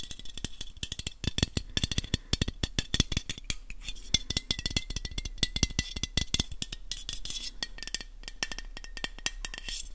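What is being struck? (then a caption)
Aluminium aerosol can. A black, hand-sized aluminium aerosol spray can with a silver metal base, hollow and of unknown fullness, is tapped fast with fingertips and nails. Dense, sharp clicks sound with almost no ring, and a thin metallic tone wavers around 2 kHz with bright shimmer above it, over a low hum throughout.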